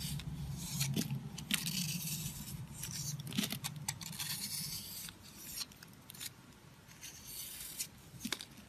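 A box-cutter blade cuts and scrapes chunks off a solid, dry heart-shaped soap held in the hand. Crisp, bright scraping and cutting strokes come in an irregular rhythm over a low rustling bed, with sharper snaps standing out now and then. The strokes grow quieter and sparser in the second half.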